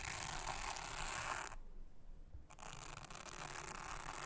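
A soft toothbrush is brushed across a thin, solid, round blue silicone honeycomb trivet mat, making a dense, bright, scratchy bristle hiss. The brushing stops for about a second, leaving only a faint low rumble, then resumes with the same steady, rasping texture until the end.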